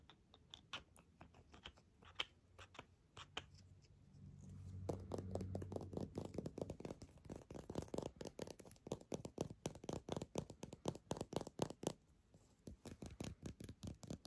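Long nails tap and scratch a small, hollow, mint-green plastic lip balm tube with a dark cap. Quiet, dry clicking taps come in a quick, uneven stream of roughly four per second. A soft, low scratching swell rises in the middle before the tapping picks up again.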